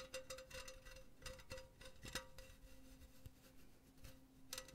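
A hollow, empty silver metal mesh pen holder is held close to the mic while long painted nails scratch and tap across the mesh. Quiet, bright metallic ticks and scrapes come in clusters, with a faint sustained ring near 520 Hz running underneath.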